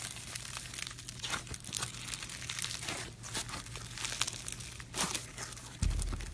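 Fingers knead, stretch and squeeze a solid, soft lump of pink floam, a styrofoam bead slime, the beads crunching as it's worked. Dense, bright crackling and crinkling runs throughout over a steady low hum, with a louder low thud near the end.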